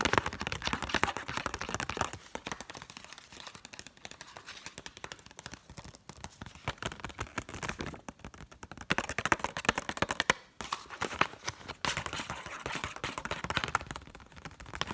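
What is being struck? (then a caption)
Paper banknote. A single Egyptian pound banknote of thin, flat, palm-sized paper is held up in both hands and scratched and tapped with long acrylic nails. Fast, dense clicking taps and dry scratching sound over a steady crinkle of the paper, brighter and busier in bursts.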